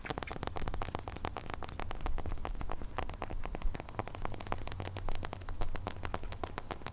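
Long painted fingernails of both hands scratch the rough, cracked bark of a large solid tree trunk, with the recorder held close to the trunk. A rapid, steady stream of short, dry scratching clicks sits over a constant low rumble for the whole clip.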